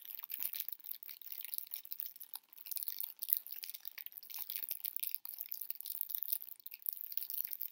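A heart-shaped chocolate box in clear cellophane wrap is held and turned in the hands while fingertips crinkle and rub the wrap. The result is quiet, continuous, crisp crackling that is almost entirely high and bright, with dense rapid ticks and no low-end body.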